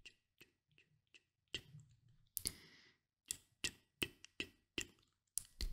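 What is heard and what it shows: Short dark-painted nails tap and click on the glass edges of a small Nuxe glass bottle with oil inside. Fourteen sharp, bright clicks come at an irregular pace, starting soft and growing louder. Each click stops almost at once with little ring.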